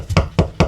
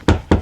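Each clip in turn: First: Three short, dull knuckle knocks with a tight low thud and almost no ring: solid wall over a stud. Second: Two low, booming knocks that die off quickly: a hollow stretch of wall with empty cavity behind.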